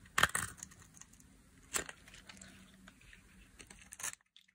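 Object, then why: Bar of soap scraped with a metal blade. A metal utility blade carves and scrapes thin flakes off a solid, hand-sized, pink-and-white striped bar of dry soap held by long nails. Sharp, dry, bright crunches burst out near the start, again in the middle, and near the end, with faint crackly scraping in between. The clip ends in near silence.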